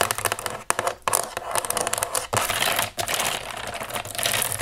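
A black plastic computer keyboard lying on a table has its keys tapped and scratched with long nails. The result is a dense run of quick, bright, clicky taps mixed with raspy scratching. There are brief pauses between bursts.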